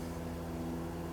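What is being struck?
Nothing is struck.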